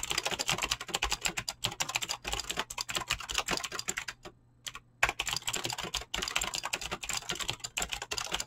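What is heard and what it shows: Fingertips with short painted nails type fast on a full-size mechanical keyboard with Razer green clicky switches and pink-blue PBT plastic keycaps, resting on a desk. A rapid, steady stream of bright, crisp clicks and clacks fills the clip, with a short pause a little past the middle before the typing resumes.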